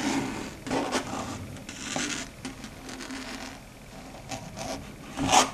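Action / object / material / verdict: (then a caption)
scrape / slate chalkboard / slate / none. Very long pointed red stiletto nails scratch and tap across a large, flat, dark gray chalkboard. Bursts of dry, bright rasping scrapes alternate with quieter scratching and light taps. The clip builds to a final loud scrape at the end.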